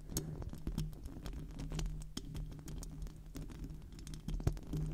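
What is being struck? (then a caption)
Metal mesh microphone grille. Long decorated acrylic nails scratch and tap across the hollow metal mesh grille of a silver microphone cupped in both hands. The result is a steady, busy patter of small, close, dry ticks and scrapes over a low, boomy rumble, with short bright clicks popping out now and then.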